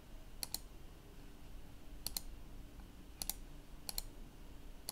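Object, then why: Plastic laptop keyboard keys. Fingertips press the keys of a black plastic laptop keyboard in slow keystrokes, giving nine short, bright clicks that mostly come in quick pairs. Low steady background noise sits underneath.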